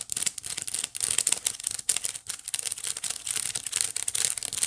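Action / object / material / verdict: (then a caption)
scrape / small woven wicker basket / wicker / none. Long nails scratch across the strands of the flat woven face of a small, hollow white wicker basket. The result is a dense run of dry, bright, crackling scrapes that sit almost entirely in the high range with almost no low end. Short bursts with brief gaps between them follow one another quickly.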